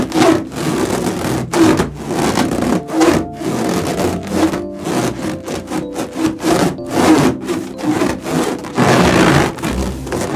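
A large, hollow, air-filled orange latex balloon with white and blue stripes is held in both hands and rubbed across its surface with fingertips and palms, while other balloons rest untouched nearby. Repeated rubbing strokes make dry, scratchy friction bursts mixed with squeaky, pitched rubber tones around 300 Hz that wobble up and down.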